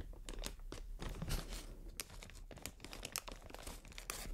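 Long nails scratch and squeeze a clear, inflated plastic air-cushion packaging strip, producing dense crinkling and crunchy bursts. Sharp, bright clicks stand out over a steady low rumble, and the texture continues unevenly throughout.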